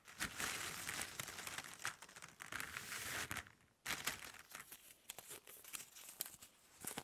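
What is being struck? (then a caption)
Pile of plastic drinking straws. Long nails and fingertips scratch a pile of hollow plastic drinking straws on a table, then lift and shuffle them. A bright, crinkly scratching rustle runs steadily, drops almost to silence for a moment just before the 4-second mark, then returns as sharper clicks and clattering taps as the straws are moved about.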